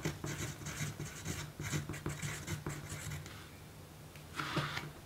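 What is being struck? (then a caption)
Pencil on thin paper card. A pencil writes continuously on a small, thin pink paper note card resting on a table, with the free hand laid flat. Its graphite tip scratches across the paper in a run of soft, papery strokes with a low hum beneath. The scratching eases off midway, then returns in a brighter burst near the end.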